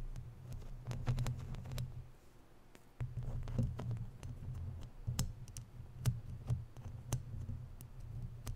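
Long natural nails tap and scratch a round, hollow, woven metal mesh microphone grille. Sharp, bright clicks and scrapes sit over a heavy, low rumbling hum that dominates the sound. The sound briefly drops quieter around the two-second mark before the tapping resumes.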